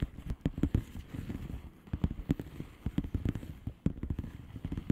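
Long polished fingernails tap rapidly on a flat blue plastic bubble wrap envelope. The taps are quick, dull and low-heavy, with short crackly clicks that die away almost instantly over a soft rustling bed.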